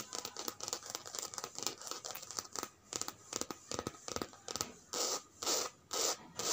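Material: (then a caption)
Coated canvas. Long red nails and fingertips rub and scratch the surface of a checkered coated canvas handbag lying flat. Quick, bright scratchy strokes come in an uneven rhythm, then give way to a few longer, broader scrapes near the end.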